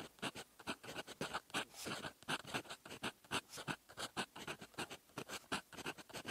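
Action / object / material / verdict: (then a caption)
scrape / metal fountain pen nib on lined writing paper / paper / none. A silver metal fountain pen nib writes in red ink on a flat sheet of lined writing paper, scratching across it in handwriting strokes. A quick, steady run of short, dry scratches is heard, each a bright, brief rasp that stops almost at once between strokes.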